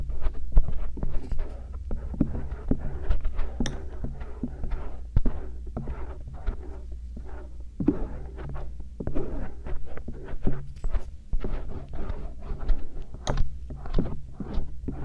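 A thin stainless steel earpick held in the fingertips scratches along the auricle ridges of soft silicone ears on a binaural microphone. The result is a steady run of soft, dull scraping and tapping strokes over a deep low hum, with many brief close-up rubs and a few brighter ticks.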